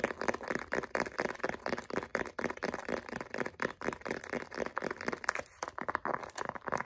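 Long acrylic nails rapidly tap and scratch the face of a light-blue pebbled faux leather wallet. The result is a fast, irregular stream of dry clicks and scratchy rustling in the mid range that stops almost instantly after each touch, with little low end.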